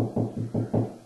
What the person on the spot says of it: Just start knocking on the wall. Hear how deep that is? That's hollow space.